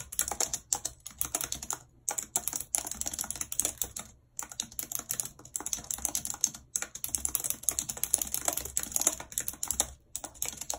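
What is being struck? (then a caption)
Plastic computer keyboard keys. Very long red acrylic nails and fingertips type quickly and continuously on the hollow plastic keys of a full-size white and silver computer keyboard with a numeric keypad, lying on a map. Bright, dry clicks and clacks run in rapid bursts with brief pauses between them, each tap dying out almost instantly.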